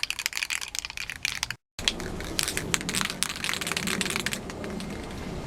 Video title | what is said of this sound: SUZUKI TRACKBIKE FAIRING REPAIR AND PAINT PT 3 | you want to hear that ball rattle for at least a minute